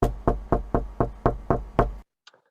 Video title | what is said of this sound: Oral Session 2 Paper ID 428 | I guess you can hear that this sample corresponds to a person knocking on wood